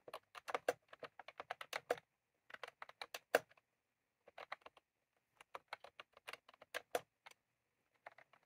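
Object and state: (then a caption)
Plastic round-key keyboard being typed on. Fingertips of both hands type on a white/cream plastic retro computer keyboard with round typewriter-style keycaps, resting on a desk. Quick bursts of sharp, bright plastic key clicks come in uneven runs, separated by short pauses. Each click dies away almost instantly.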